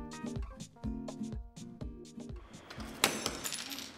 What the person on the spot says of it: 일반 유리에 경우 산산조각이 납니다